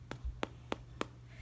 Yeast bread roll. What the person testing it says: hollow sound that's how we know that it is baked all the way through